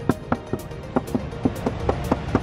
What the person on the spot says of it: Ya, ini emang udah pernah didempul.